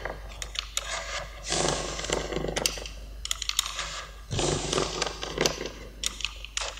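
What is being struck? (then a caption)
Kinetic sand brick cut with a metal blade. A small, solid yellow Lego-shaped brick of kinetic sand is held with fingertips and repeatedly cut into slices with the metal blade of a yellow utility knife. Short, sharp, bright clicks and ticks are interrupted by two longer, broad, crumbly, hissing bursts of cutting and scraping over a faint low hum.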